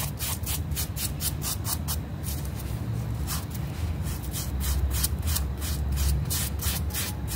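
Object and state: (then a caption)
Wet fabric rug being scrubbed. A small, flat, solid rectangular fabric rug, wet and dirty and held down by fingertips, is scrubbed rapidly with a yellow bristle brush. Quick, bright, raspy brushing strokes repeat in a steady rhythm over a constant low rumble.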